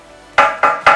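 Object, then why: Metal boiler expansion vessel. Three taps on one side of a metal boiler expansion vessel, each giving a short, bright metallic knock centred around 1.2 kHz that fades within a fraction of a second. This is the first side of a two-sided check in which the air and water sides should sound different; it is not known which side this is.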